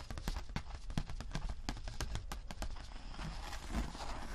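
A thin, textured holographic vinyl sheet is flexed, scratched and rubbed with fingertips and nails. It gives a quick run of sharp, crinkly clicks and scratchy rasps that reach bright highs, over a low, soft rumble.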